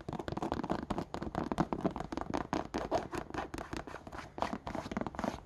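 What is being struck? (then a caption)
Suede slipper with rubber sole. A single empty brown suede slipper with a chunky knit cuff and a patterned rubber sole is scratched and tapped along its suede side and textured rubber sole by long painted nails. The result is a fast, dense run of short, dry scratches and taps with a warm low-mid body and little brightness, each hit dying away almost instantly.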